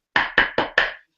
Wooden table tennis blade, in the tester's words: knock on it and listen to it. So again, that's the high-pitched noise.